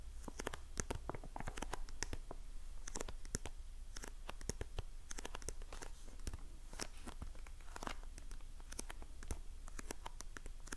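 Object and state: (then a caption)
Cardboard box scratched and tapped with fingernails. A small printed cardboard box of facial sheet masks, held in the hand, is scratched and tapped with long painted nails. The result is a dense run of quick, dry clicks and scratchy crinkles, bright at the top, over a steady low hum, with no ring after each touch.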